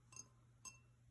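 A vintage Burger King Star Wars glass drinking tumbler is tapped twice. Each tap gives a short, bright glassy clink that dies away quickly. A steady low hum runs underneath.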